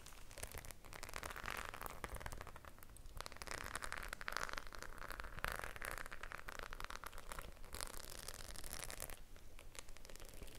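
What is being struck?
Faux-leather clutch bag with metal studs.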